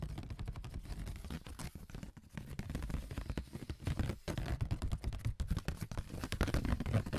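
Fingertips fitted with AA batteries as long metal nails scratch and tap across a thin, flat brown corrugated cardboard sheet with a ridged surface, lying on a table. The result is a dense, continuous run of dull, low-heavy scraping and quick tapping that rises in intensity toward the end, broken by a brief gap partway through.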